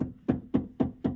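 Five short, evenly spaced hollow taps with a low tone near 260 Hz sound from the left side of the steering rack of an Audi A6 C5. The taps die away quickly, and the specific knock heard on the other side is absent here, so the left side sounds normal.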